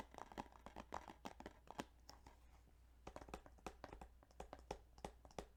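Fingers tap on the plastic case of the game Yu-Gi-Oh! Duelist of the Roses. The taps are quick, light and dry, coming in uneven bursts with a brief lull in the middle. A steady low hum runs underneath.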